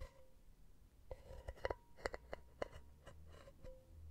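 A long painted fingernail taps the solid round metal bottom of an empty silver mesh pen holder that rests on small rubber feet. Nine quiet, sharp clicks are heard, each with a brief metallic ring at a mid-pitched tone that fades almost at once.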